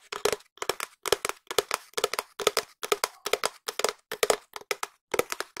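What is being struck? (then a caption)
Long cardboard tube. A long, hollow, empty cardboard tube is held at an angle near the microphone and tapped and scratched with long nails. It gives quick bursts of short, dry, clicky taps with a hollow resonance around 430 Hz. The taps fall in steady clusters of two or three, separated by brief silences, and each one dies away almost instantly.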